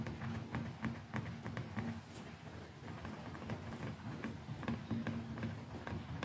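Fingertips and long nails tap quickly and unevenly on the handle and button area of a hand-sized, hollow white plastic electric toothbrush with a dotted grip handle and round brush head, held in the other hand. The quiet, short clicky taps have a hollow, low-mid plastic tone and die away almost instantly.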